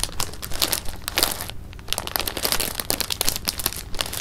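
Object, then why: Clear plastic bag of jelly beans. A clear plastic bag of jelly beans is held in the hands and squeezed, crinkled and shaken. Dense, bright crinkling with irregular crunchy bursts fills the clip, pausing briefly into a quieter stretch near the middle before the rustling resumes.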